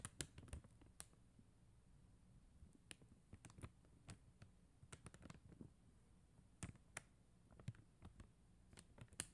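Long acrylic nails tap and scratch across a flat sheet of faceted plastic rhinestone gem stickers. Sharp, bright clicks and short scratchy ticks come in irregular bursts over a quiet, low background hum.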